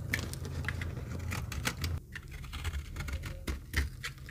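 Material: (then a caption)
Soap. A metal knife blade shaves crumbly curls off an oval, solid, very dry yellow retro soap bar held in the palm. The result is a rapid, dry patter of crisp scraping crackles and clicks over a steady low hum, with a brief quieter moment near the middle.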